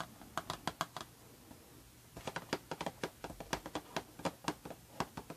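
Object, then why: Paperboard perfume box. Long red-painted nails tap and scratch a closed, rectangular, embossed Prada paperboard perfume box, first while it lies down and then while it is held. Crisp, dry, clicky taps come in a short run, pause for about a second amid faint scratching, then return in a quicker, uneven flurry, each tap dying away almost instantly.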